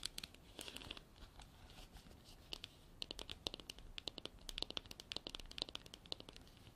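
Long black artificial nails scratch and tap the sides of a hand-sized, hollow, apparently empty white frosted hard plastic container with an embossed texture and a white cap. The result is a quiet stream of dry, bright clicks and crinkly scratching, with dozens of quick, sharp taps that die away instantly over a faint hiss.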